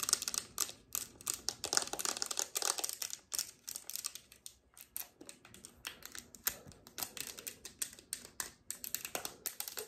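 A closed, hand-sized, flat rectangular peach cardboard eyeshadow palette (Revolution 'The Wants') is held in both hands and tapped and scratched across its front and back with long red acrylic nails. The rapid, dry, bright clicks sound like typing and stop almost instantly, with light scratching between them and almost no low end.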